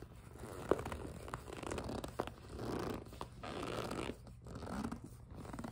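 A clear PVC vinyl cosmetic pouch with a pink zipper is pinched and gripped with fingertips and long nails. This produces soft, squeaky plastic rubbing in slow swelling waves. A couple of brief sharp clicks stand out over the quiet, mostly low-mid crinkle.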